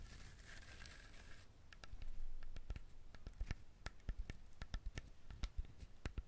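Fingernails scratch the fibrous shell of a whole brown husked coconut with visible eyes. A bright, hissy scraping comes first, followed by a run of sharp, dry clicks and scratches over soft low thumps. Each click dies away almost at once.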